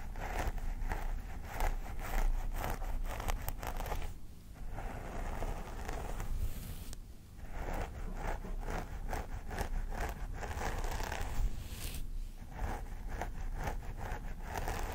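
Fingernails on both hands scratch the synthetic-haired scalp of a vinyl mannequin doll head in short strokes. The result is a dense, crackly stream of scratching and rustling that runs steadily throughout, with brief softer dips around 4.5, 7 and 12.5 seconds.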